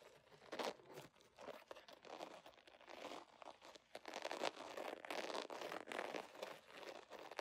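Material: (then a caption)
Vinyl. Fingernails scratch and crinkle a soft, hollow holographic vinyl zipper pouch with an iridescent scale pattern. They make a dense, continuous stream of crackly, crunching rustles with bright, papery texture and no low end. The scratching comes in quick, uneven bursts of rising and falling loudness.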